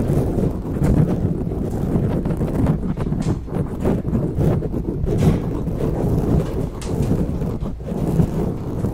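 Long natural nails scratch and rub with both hands over a soft, porous grey foam windscreen on the head of a silver USB microphone. The result is a steady, dense, muffled low rumble with crackling bursts and almost no high end.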